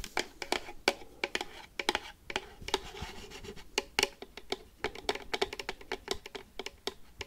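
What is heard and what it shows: Paperclips worn on the fingertips tap and scratch the lid and side of a medium, hollow, rigid cardboard collector box printed red and black with Pikachu. A fast, uneven run of sharp, bright clicks and taps, each dying out almost instantly, sits over a light, hollow papery scraping with a faint mid-pitched box resonance.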